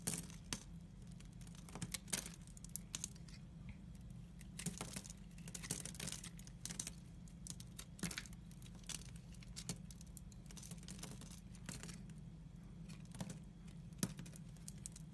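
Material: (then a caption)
Glycerin soap. A utility knife blade scrapes and slices curls from a solid bar of translucent brown glycerin soap. Many short, crisp scraping and cutting sounds with bright edges come in quick, irregular bursts over a steady low hum.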